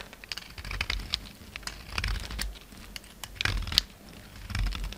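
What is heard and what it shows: A palm-sized solid white bar of soap, held in the hand, is carved and scraped with a utility knife blade. The result is a run of dry, crisp crackles and scratchy bright clicks, with soft low thuds underneath, as chunks and flakes crumble off.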